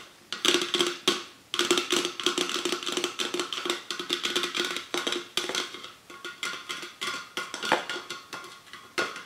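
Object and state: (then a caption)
Aluminium drink can. A Nectar aluminium drink can, held with its bottom facing out, is tapped and scratched with long nails and fingertips. Quick, bright metallic taps with a short ring near 344 Hz mix with dense scratching across the upper frequencies, continuing steadily throughout.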